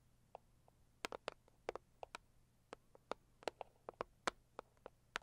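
Long acrylic nails on both hands tap the lid of a hollow, medium pink floral Saviland cardboard gift box. About 18 quiet, sharp, clicky taps land in an irregular rhythm, each with a hollow mid-pitched knock and a bright edge that stops almost at once. A faint steady low hum runs underneath.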